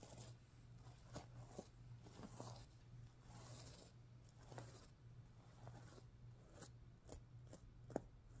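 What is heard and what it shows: Fingers and nails brush across the reversible plastic sequins on the fabric of a stuffed pillow, flipping them from green to pink. Soft, dry scratching and rustling swells and fades, punctuated by brief bright clicks, over a steady low hum.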